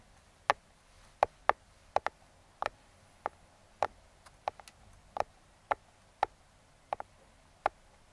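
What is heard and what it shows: Metal claw fingertip picks tap and trace the printed logo on a small, closed brown kraft cardboard box. A series of short, dry, sharp clicks sounds at an uneven pace, with a hollow midrange tone around 800 Hz and almost no ring, against a quiet background.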